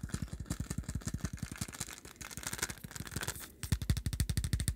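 A small dark plastic supplement pill bottle with a screw cap, held in both hands, is tapped and scratched rapidly with the fingertips. The result is a quick run of dull, low, hollow thumps under a bright, dry scratching rasp. The sound softens briefly before the tapping returns louder and sharper.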